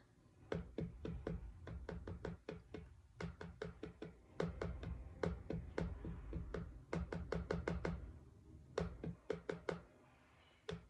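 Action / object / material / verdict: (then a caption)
tap / cardboard book cover / cardboard / none. Fingers knock and tap on a cardboard book cover, giving a long run of quick, dull, low thuds that come in bursts with brief pauses between them. Each knock stops almost immediately with little ring, leaving a soft, hollow tapping sound at a quiet level.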